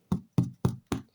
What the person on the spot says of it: ça sonne le creux. C'est bon.